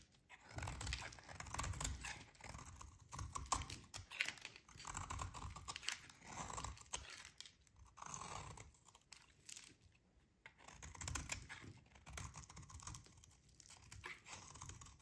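A metal utility blade scrapes and shaves a solid, dry, orange rectangular soap bar held in the hands. Dense, gritty scraping and crisp crackling come in bursts separated by short pauses, with a low rumble under bright, rasping shaves.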